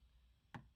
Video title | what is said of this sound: PDR training- BMW 328d XDrive RARE!! #PDR #undendented #BMW #Xdrive | this is real solid right here where it goes up against the brace